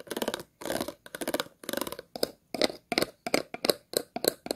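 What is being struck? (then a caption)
Plastic water bottle. Scissors scratch the ridges and star-shaped base of an empty, hollow clear plastic water bottle. The result is a series of short bursts of rapid, dry, ticking scrapes with a bright, hollow plastic rasp, separated by brief silences.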